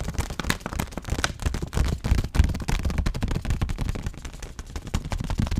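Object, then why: Laminated paper-plastic snack pouch filled with granola. A white stand-up granola pouch of laminated paper and plastic, filled with granola and held upright, is tapped on its back panel with fingertips and nails. The result is a fast, irregular stream of short, dull taps with a deep, thumpy body and a faint crinkly edge, each dying away almost instantly.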